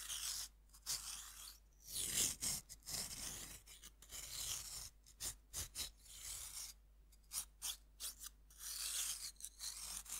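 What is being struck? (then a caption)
Pressed-powder bath bomb and metal knife. A metal knife scratches and scrapes grooves into a fist-sized solid pink pressed-powder bath bomb held over a wooden board. The clip is a quiet series of short, bright, gritty rasps and scrapes separated by brief pauses, with little low-end weight.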